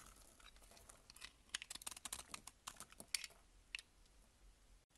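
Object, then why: Bar of soap shaved with a blade. A box-cutter blade scrapes and shaves the surface of a solid cream bar soap held in the hand. Quiet, bright, crisp flicks and crackles come in a quick irregular run over a soft hiss, each cut ending almost instantly.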